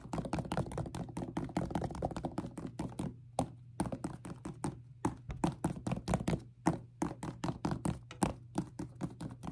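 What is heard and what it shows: A white and yellow high-top Jordan 1 sneaker with a leather upper and rubber sole is held in hand and tapped and scratched with long painted nails. The result is a quick, uneven run of dull, soft taps and light scratches that die away almost at once, with a faint bright tick on each. A steady low hum sits underneath.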